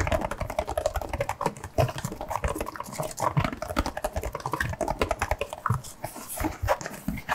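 Fingertips and nails tap and scratch the surface of a printed cardboard box of nitrile gloves with an open dispenser slot, mostly hollow and held in both hands. A rapid, steady stream of short, dry, hollow taps mixed with soft scratching fills the clip, with a low-mid body and little brightness.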